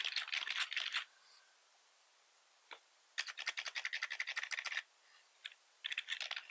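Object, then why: Plastic computer keyboard. Fingertips of both hands type on a black plastic computer keyboard with red keys resting on a wooden desk, tapping the keys repeatedly. Bursts of quick, bright plastic clicks come in uneven runs, broken by a few lone taps and short pauses. Each click is dry and stops almost at once, with no low thump.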